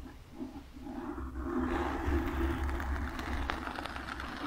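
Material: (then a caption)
Foam. Long nails scratch and tap the lower sides of a black foam windscreen on a microphone. The result is a dense, muffled, low-heavy rustling and scraping that rises from a quiet start into a steady, rumbling texture, with soft taps mixed into the scratching.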